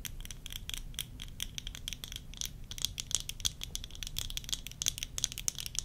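Long nails tap and scratch quickly across worn tortoiseshell plastic eyeglass frames with lenses. The result is a dense run of sharp, bright clicks and scrapes, each dying away almost instantly, over a faint low hum.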